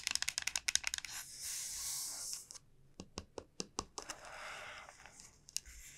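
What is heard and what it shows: Long nails tap the hard shell of a large, hollow, dried gourd, making a quick run of bright, crisp clicks. A brief hissing scrape across the shell follows, then more sharp, evenly spaced taps. It ends with a softer rubbing sound and a few light clicks.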